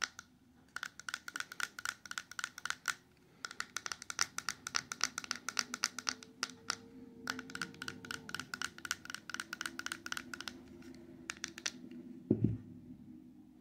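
Long yellow and orange acrylic nails tap and scratch the sides of a small closed silver-coated cardboard ring box, hollow with a ring inside, then its white underside as it lies on a paper towel. Rapid bursts of crisp, bright clicks come in runs over soft scratching and a faint low tone. A louder, duller knock stands out near the end.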